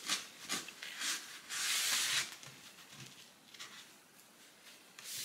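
A cloth held in the fingers rubs and wipes the inside of an empty, long, shallow, rectangular wooden serving tray with raised sides, resting on a countertop, while the other hand steadies the rim. Soft, bright, hissy swishes come in irregular strokes, with one longer, louder wipe near the middle. Fainter scuffs follow before a final swipe at the end.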